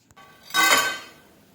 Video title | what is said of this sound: खमंग, खुसखुशीत भाजणीची चकली - Chakli - Diwali Special - Gruhavishnu Kitchen - | चकली चाळणीमध्ये काढून घेतल्यानंतर कसा कुरकुरीत आवाज येतोय